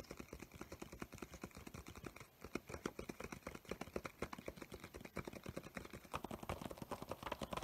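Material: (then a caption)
Paper. Fingertips and nails of both hands tap rapidly on the paper cover and page edges of a medium spiral-bound paper sketchbook with coloured tabs, a solid stack of pages held upright with a crayon drawing facing out. A quick, continuous run of short, dry, papery taps and clicks with a soft low thump is heard, with a brief lull partway through. The tapping grows slightly brighter and scratchier near the end.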